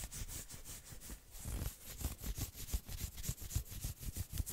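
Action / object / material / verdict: scrape / knit fabric sweater sleeve / knit fabric / none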